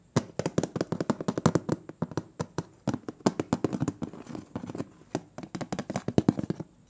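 Fingertips and nails tap the printed metal lid of a large, round, closed butter cookie tin in a quick, uneven stream. Each tap is a short, dry knock with a hollow low-mid body and almost no ring, some carrying a faint bright click.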